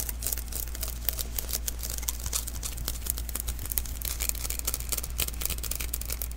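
Fingertips tap and rub the tacky surface of a small, hollow sticky lint roller refill (an adhesive paper roll) held in the hands. The result is a fast, irregular stream of bright, crackling, peeling taps over a steady low hum.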